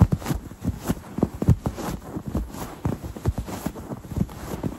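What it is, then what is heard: Quilted fabric pillow. A soft, stuffed, quilted cloth throw pillow embroidered "Autumn Greetings" is scratched with fingertips and red-painted nails. The result is a run of short, muffled, low-pitched scratching strokes with soft thumps, with almost no bright content and no ring after each stroke.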